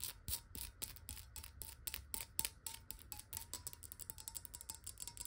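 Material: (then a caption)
Glass. Long nails rapidly tap the body and ridged base of a clear, square glass water bottle that is partly filled with water. The taps come in a fast, uneven run of bright, crisp clicks, each with a faint ringing glassy tone near 1 kHz that dies away almost instantly.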